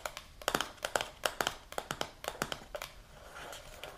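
A medium translucent plastic supplement jar with a silver lid, filled with powder, is tapped and scratched on its lid and side with long pink nails. Quick, bright, hollow clicks come in uneven bursts, with a softer scratching rustle near the end.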